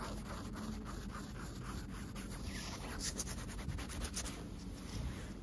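Long acrylic nails scratch and tap across a soft green cloth with a white leaf-line print, lying loosely rumpled on a surface. A steady, quiet rubbing scratch runs throughout over a low rumble, with a few brighter, crisper taps in the second half.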